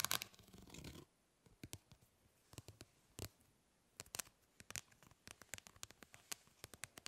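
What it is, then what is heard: Plastic mesh fly swatter. Long nails scratch across a plastic grid-mesh fly swatter for about a second, making a dense, bright rasping. This is followed by a quiet stretch of sharp, dry taps and short scratches on the mesh that stop instantly with no ring.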